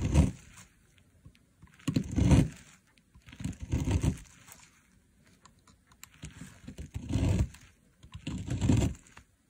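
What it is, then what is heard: Dry soap bar being carved. A dry, solid pink soap bar lying on artificial grass, held by a finger with a long nail, is carved into fine shavings with a box cutter blade. Bursts of low, crunchy scraping come in about five separate passes, with quiet gaps between them.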